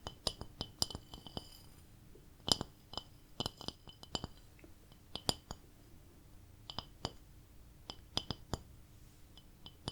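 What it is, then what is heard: Ceramic plate. A cat-decorated ceramic plate is tapped in an irregular series of about two dozen light, clinking taps with a bright, glassy ring that dies away almost at once. A faint, steady low hum sits underneath throughout.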